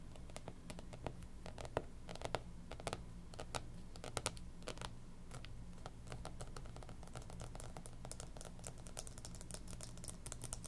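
Long pink nails tap and scratch across the cardboard cover of a closed, striped 2019-2020 hardcover planner, a solid book lying flat. Quick, dry clicks come in irregular runs, some clustered fast and others spaced out, with short scratchy strokes between them. A steady low hum sits underneath throughout.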